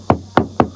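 Three dull, short taps on the body-filled area of a van's side panel, each a brief low-mid knock that dies away almost at once. The filler is cracked.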